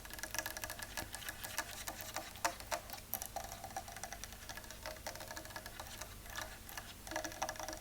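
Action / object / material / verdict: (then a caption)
tap / painted wooden chair back / wood / real. Fast fingernail tapping on the back of a painted real-wood chair, not a faux-wood one, gives quick, light, dry clicks with a woody midrange tone and bright edges. The taps come in an uneven, rapid patter over a low steady background hum, with a few louder accents along the way.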